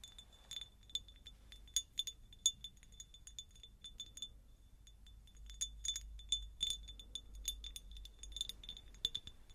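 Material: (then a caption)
Glass. Long nails tap and scratch across the faceted surface of a medium, hollow, empty cut-crystal glass jar. The result is a quick run of bright, clinking taps with a thin high ring near 3.5 kHz, mixed with soft scratching, over a faint low rumble.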